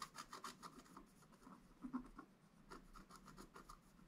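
A wooden stylus scratches fine lines into a flat scratch art board, a black-coated page over a gold base. Quick, quiet, dry scraping strokes follow one another in a steady rasping rhythm, each short and bright with no ring after it.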